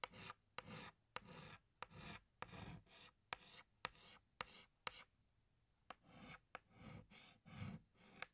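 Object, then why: Chalk stick on a chalkboard. A hand scratches a green chalk stick across a large, flat black chalkboard in 12 separate strokes. Each stroke opens with a sharp tap of the chalk, then a dry, bright, rasping scrape with some low body, and a short pause falls near the middle.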